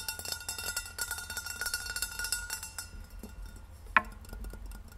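Long red nails tap and scratch fast along the sides of a hollow, rose-gold stainless steel insulated water bottle standing upright on a wooden table. A dense run of bright, clicky metallic taps with a short ringing tone fills the first three seconds. It then thins to softer scratching, broken by one sharp, louder tap near the four-second mark.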